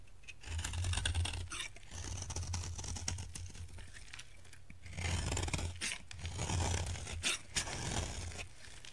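A utility knife blade scrapes and carves the surface of a solid, dry orange soap bar, sending crumbly chips off. Bursts of dry, crackly scraping and crunching repeat in uneven strokes, with bright, rasping texture over a low rumble.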